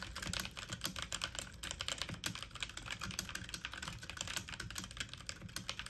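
Fast typing on a full-size backlit mechanical computer keyboard with plastic keycaps, the keys pressed with fingertips and medium-length nails. A rapid, steady stream of bright, crisp plastic clicks and clacks with short, dry decays and a faint low thump under each press.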